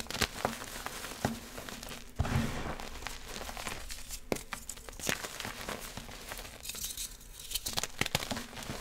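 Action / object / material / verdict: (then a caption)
scrape / magnesium carbonate gym chalk block / gym chalk / none. A hand grips a solid, dry grey-blue block of gym chalk (magnesium carbonate) and crushes it into powder with the fingers and palm over a pile of yellow chalk powder. Dense, dry crumbling and crinkling runs throughout, with sharp, bright snaps as pieces break off and a low, soft thud as a chunk gives way partway through.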